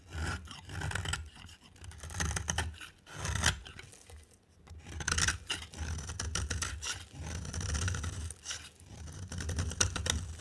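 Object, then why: Bar soap. A box cutter blade scrapes a dry, oval solid soap bar with a pale green face and a yellow coating around the rim. Repeated scraping and shaving strokes come in bursts with short pauses between them. Each stroke has a low, rough rumble underneath a bright, crisp scratching texture.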